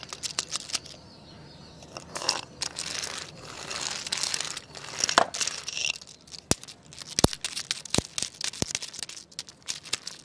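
A jointed wooden segmented crocodile wiggle toy is swished side to side by hand on a tile floor, its segments clattering against each other. Bright, dry scraping swishes alternate with quick, sharp clacks and clicks that die away almost instantly.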